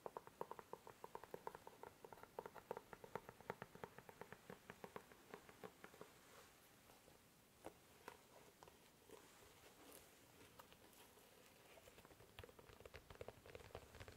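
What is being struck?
Leather dress shoe.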